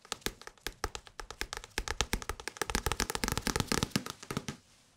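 Fingertips tap rapidly on an old English-language paperback book with many pages. The result is a fast, uneven run of short, dry taps, each with a soft low thump and a bright papery click and almost no ring. The tapping grows denser toward the middle and stops about half a second before the end.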